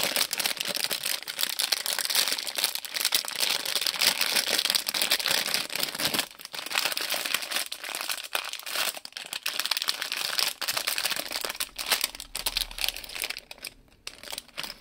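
Fingertips crinkle a small printed plastic-film Lego Disney Raya polybag filled with loose plastic bricks, hollow and soft, pressing it flat on the table and shaking it. The result is dense, bright, continuous crinkling and crackling with almost no low end. It eases into quieter, sparser rustles with brief pauses toward the end.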